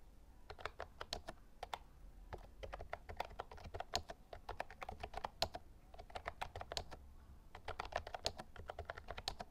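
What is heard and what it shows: Fingertips type continuously during a typing test on an Actto Retro Pop Mini compact white-and-lilac plastic Bluetooth mechanical keyboard with round retro keycaps and a hollow case, with a tablet sitting beside it. Quick, irregular bursts of sharp clacky keystrokes carry a hollow plastic tone and bright click edges that die away almost instantly, over a faint low hum.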